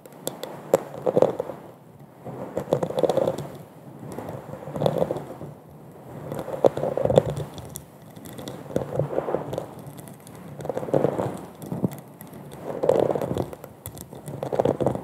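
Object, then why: Glass wine goblet. Long acrylic nails tap and scratch the bubble-textured bowl of a large, hollow, empty wine goblet held upside down over a fluffy microphone. Dense clicking, crackling scratches rise and fall in soft waves about every two seconds, with a hollow ringing tone near 530 Hz under the quick taps.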